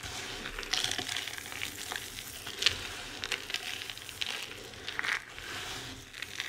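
Hands with long red nails squeeze and crush handfuls of a pile of loose, dry crumbled bar soap with small solid chunks on a white surface, rubbing the crumbs between the fingers. A steady, bright, crackly crunching and sizzling rustle carries on throughout, with sharper, louder crunches breaking through at moments.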